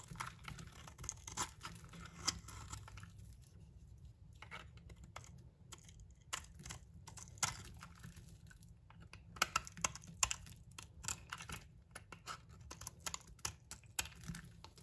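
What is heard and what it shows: A metal blade is scraped down the face of a solid amber bar of soap held in the hand, shaving off curly yellow shavings. It makes a steady run of short, crisp, bright scraping and crackling sounds over a low hum, with a quieter pause in the middle before the scraping picks up again.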